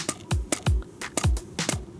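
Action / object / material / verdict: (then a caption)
tap / pond ice sheet / ice / solid. Tapping and poking the ice on a fully frozen bass pond to check its thickness gives sharp ticks, each followed by a low, descending "kyun-kyun" ring that resonates across the ice over background music. The ring shows the pond is frozen solid.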